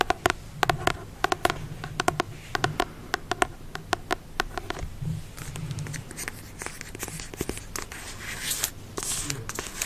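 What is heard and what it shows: A rapid, uneven run of sharp, dry ticks mixes with rasping scratches. Each click dies almost instantly, as stiff card over packed pages does. A low murmur of close-mic handling sits underneath in a small, quiet room.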